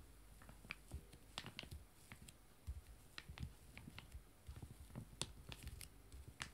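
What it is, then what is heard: Foil wet wipe sachets. Fingertips and nails tap on two joined, small, full foil-laminated wet wipe sachets lying flat. The result is a quiet, irregular run of about seventeen short, dry taps and clicks with bright, crinkly edges over soft low thumps. Each tap dies away almost instantly.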